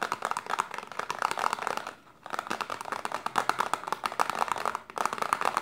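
Long silver-painted nails rapidly tap and scratch a small, pale green printed cardboard Detox serum box held upright in a hand, possibly with the bottle still inside. The result is dense, crisp, papery clicking and scraping centered in the midrange, with brief pauses near two seconds and again near five seconds.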